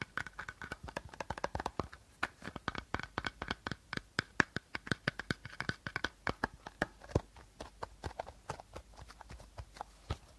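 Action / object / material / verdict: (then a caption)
tap / plastic bottle / plastic / none. Short nails scratch and tap along the body of an empty, hollow clear plastic bottle with a teal cap, held sideways. A rapid, uneven series of quiet, dry clicks rings with a hollow plastic tone around 1.7 kHz. Each tap dies away almost instantly, with soft scratching between them.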